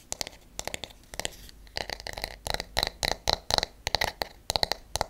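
A wooden paddle hairbrush with wooden bristle pins is tapped with fingernails on its back and on its pins, turned over partway through. The result is quick clusters of short, dry, clicky taps with a bright, high edge and almost no ring.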